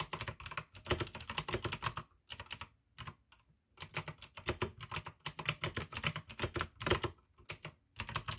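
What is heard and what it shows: Fingertips type slowly on the keycaps of a full-size pink plastic AUKEY mechanical keyboard with RGB backlight, clicky blue switches and a hollow case. Bursts of sharp, bright clicks with a hollow low clack under them come in short runs, broken by brief pauses.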